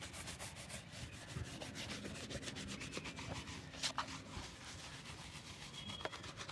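A hand brushes a hollow, empty brown leather slip-on shoe, held upright on a wooden board, back and forth with an orange-handled bristle brush. A steady, rapid bright scratchy rubbing continues throughout, broken by a few sharper ticks.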